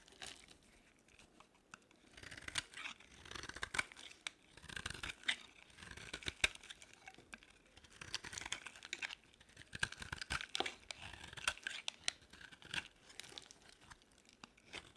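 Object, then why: Bar of soap. A utility-knife blade cuts and scrapes the edges of a solid, pink, rounded bar of dry soap. The result is a dense run of crisp, bright shaving and crunching scrapes with sharp little clicks. The sound comes in bursts with very short decay and almost no low end.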